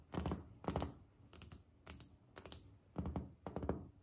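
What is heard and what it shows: Long nails on both hands tap a solid, white glazed ceramic tile countertop, striking in quick pairs about every half second. Each tap is a short, dry click with a low thud and almost no ring, around 14 hits in all.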